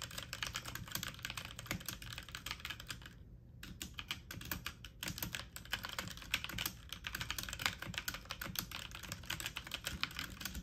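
Keys on a full-size backlit mechanical computer keyboard with plastic keycaps are pressed fast with fingertips and medium nails, giving a dense stream of bright, sharp clacks over a low thock. Each tap dies away almost instantly, and the rapid typing runs throughout the clip with only a brief pause near the middle.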